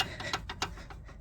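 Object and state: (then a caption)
Loose steering drag link. A loose steel drag link on a car's front suspension, badly installed and never tightened by a previous owner, is shaken by hand and rattles with a series of short, sharp metallic knocks. The ticking clacks are bright and quickly damped. The untightened drag link is the real fault rather than the bushings.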